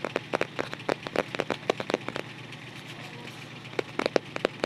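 Fingertips tap and scratch around the printed illustration on the white paper-covered cardboard front cover of a closed photo album. A quick run of dry, papery taps with a hollow midrange body comes first, then a pause of soft scratching, then a few more taps. Each tap is short and stops at once, with no ring.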